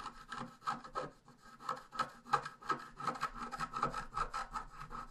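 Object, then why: Scratch art paper sheet and wooden stylus. A wooden stylus scratches along the bottom border of a thin sheet of scratch art paper lying flat, making a quick, uneven series of short, dry scraping strokes. Each stroke carries a faint squeaky tone near 1.2 kHz over soft, papery friction, with almost no low end.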